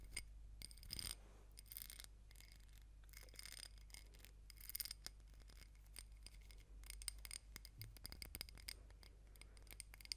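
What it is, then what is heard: Glass candle jar scratched and tapped. Long nails scratch and tap the walls of a small ribbed glass candle jar filled with solid pink wax, and the jar is turned over to show its base. Quiet, dry, bright scrapes and clicks come in clusters over a steady low hum.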